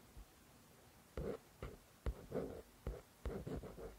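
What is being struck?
Paperback book with card cover.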